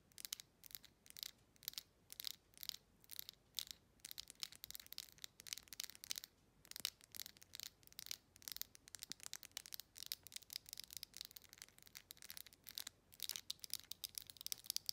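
Long chrome nails scratch and rub the ridged surface of a clear glass jar with a faceted, textured wall. A quiet stream of rapid, bright, hissy scrapes, almost entirely high-pitched, comes in short bursts with brief gaps. Each stroke stops dead with no ring.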